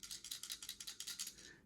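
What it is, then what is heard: Brick-built toy figure with loose parts inside that rattle. A finished brick-built plastic Lego Woody figure is shaken, and its loose internal parts make a bright, high-pitched rattle of about ten quick clicks that fade at the end. The rattle is a normal feature, like the Buzz Lightyear build's, while the Bo Peep figure makes no sound when shaken.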